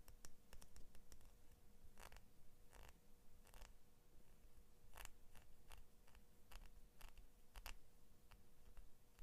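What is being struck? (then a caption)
Small steel scissor blade. Long nails tap rapidly along the steel blade of small kids' scissors with orange and blue plastic handles. Quick, dry, clicking ticks come in uneven bursts over a quiet, low background hum, each tap dying away almost instantly.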